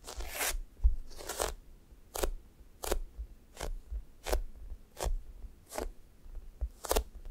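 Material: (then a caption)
Foam. Flat fingers repeatedly press into and lift off the sticky surface of a thick, solid, sticky foam squishy toast. Each lift makes a short, bright, crackly peeling sound. Between peels there is a quiet, low background rumble.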